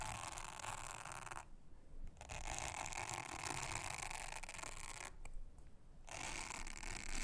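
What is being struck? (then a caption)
Silicone honeycomb trivet mat. A soft toothbrush brushes across a thin, solid, round blue silicone honeycomb trivet mat, making a steady, bright, hissing scratch over a low rumble. The brushing breaks off twice into quieter, duller stretches before resuming at the same level.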